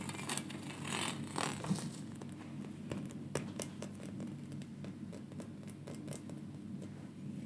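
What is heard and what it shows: A gold-coloured, brass-like twisted metal neck torc, an open solid-rod ring about 15 cm across with flared terminals, is held in both hands near the camera and handled and tapped with fingertips and nails. Quick, bright clicks and light tapping, with some rubbing and scraping, ring out briefly over a steady low hum.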